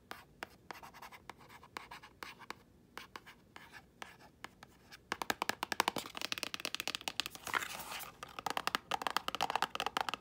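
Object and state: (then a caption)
Cardboard product box. Long nails scratch and tap the face and edges of a small, thin, hollow printed cardboard box of acne treatment patches. Sparse dry clicks and light scratching come first, then after about five seconds the tapping turns into a fast, dense run of crisp, papery clicks with no ring after each hit.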